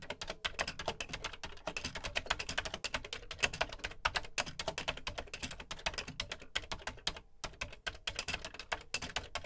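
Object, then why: Plastic computer keyboard keys. Fingertips type steadily on the dark plastic keys of a Commodore VC 20, a beige plastic home computer keyboard. The result is a dense stream of short, bright plastic clicks and clacks that stop dead with no ring, with a brief pause about three-quarters of the way through.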